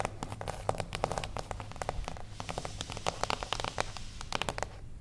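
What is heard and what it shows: A small, closed beige cardboard gift box standing on its edge is tapped very fast with long acrylic nails. The result is a dense run of sharp, dry clicks with a hollow papery body and bright edges over a low rumble. About 31 taps are distinct across the clip.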